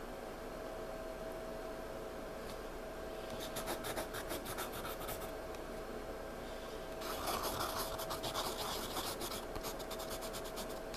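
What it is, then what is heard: Pencil scratching on a sketchbook page. A hand rubs the page of a spiral paper sketchbook lying flat, then scratches and shades across a dark patch with a pencil tip held in the fingertips. Soft, quiet rubbing gives way to two bursts of quick, bright, scratchy pencil strokes repeating at a brisk, uneven pace over a steady low background.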